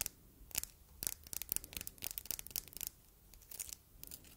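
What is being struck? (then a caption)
Glass heart paperweight. Long red nails tap and scratch the front of a palm-sized, solid red glass heart paperweight decorated with an engraving and rhinestones. The clip is a quiet, uneven run of short, bright clicks and scrapes that stop almost instantly, with brief pauses between bursts.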